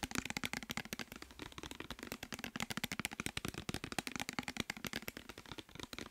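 Fingertips and nails rapidly tap and scratch a clear plastic micellar water bottle with a white cap, partly filled with liquid and held in the hands. A fast, steady stream of short, dry, clicky taps with bright scratchy edges and a faint hollow plastic body tone, each hit dying away almost instantly.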